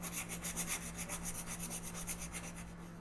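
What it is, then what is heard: Colored pencil coloring on a paper page. A wooden green colored pencil is rubbed across a thin paper coloring book page lying flat on a table in quick back-and-forth coloring strokes. The strokes make a rapid, soft, scratchy rasp with bright hissy bursts, about four per second, over a steady low hum. The strokes slow and fade slightly toward the end.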